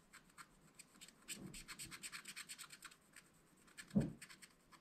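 A wooden stylus scratches the black wax coating of a coated paper sheet from a small spiral-bound scratch-art pad lying flat on a table, while the other hand steadies the pad. It makes a quiet run of short, dry, bright scratching strokes, with a denser burst through the middle. A louder, duller bump near the end is followed by a few more light scratches.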